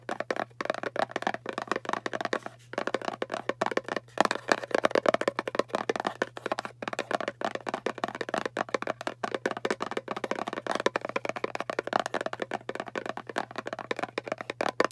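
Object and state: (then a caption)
Round cardboard box, fast nail tapping. Long painted nails fast-tap the flat lid face of a small, hollow, round kraft cardboard box held in both hands. The rapid, dense clicks and taps are dry and hollow, with a mid-range knock around 650 Hz, almost no ring, and a faint steady low hum underneath.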